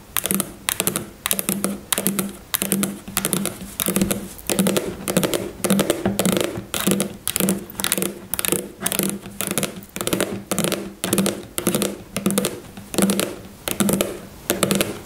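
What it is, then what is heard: Plastic cosmetic tube tapped with nails. Long fingernails on both hands tap rapidly on the front of a white plastic styling gel tube, which is filled with gel and stands upright on its cap. The result is quick bursts of light, crisp clicks with a bright edge and a faint hollow tone around 200 Hz. The bursts come in uneven clusters throughout.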